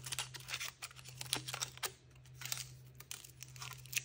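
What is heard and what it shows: Fingertips and nails crinkle and tear the thin printed aluminium foil wrapper from a hand-sized chocolate egg held in the hand, peeling it away to expose the chocolate underneath. Dense, bright crackling and sharp little tearing snaps come in quick clusters, with a steady low hum underneath.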